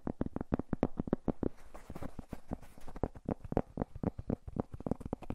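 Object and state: Cork coaster.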